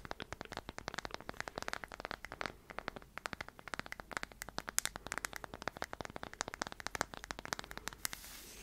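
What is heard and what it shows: Long nails scratch and tap the face of a solid round light-wood tree slice coaster held in the hands. Dense, rapid, dry clicks and scratches run steadily throughout, with bright crisp edges and almost no ring.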